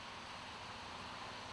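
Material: Nothing is struck.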